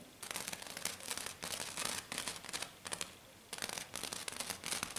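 Long dark-painted nails on both hands scratch and tap fast on a flat silver glitter sheet, probably glitter foam, lying on a table. Dense bursts of bright, crackly scratching with quick tapping come in rapid flurries, with brief quieter pauses between them.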